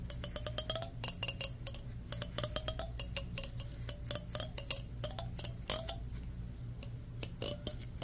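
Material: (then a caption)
Plastic. A fingernail strums and flicks along the long teeth of a solid black plastic hair comb held in both hands. It makes quick bursts of sharp, bright ticking clicks that come in rapid runs and then thin out toward the end. A steady low hum sits underneath throughout.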